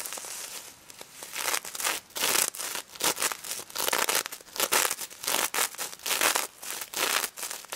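Long red nails scratch and flip rows of plastic sequins on a pink sequin-covered stuffed plush pig toy, held close-up. The sound comes in irregular bursts of bright, dry, crinkly scratching with soft rustling between them. Each burst stops short with no ring.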